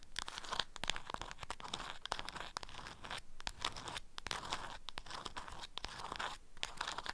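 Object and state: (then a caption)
Beeswax food wrap being scratched. Long nails scratch the waxed cotton surface of an orange-print beeswax wrap bundled around a small object and held in one hand. The result is a steady stream of dry, crunchy, crinkling scrapes with sharp clicks and no ringing.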